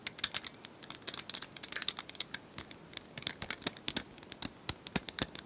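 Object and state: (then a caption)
Plastic cylinder puzzle toy. Long nails tap fast on a small plastic cylindrical puzzle toy with colored tiles, likely hollow, held close to the mic. Dozens of quick, dry, bright clicks come in an uneven patter with almost no low end and no ring between taps.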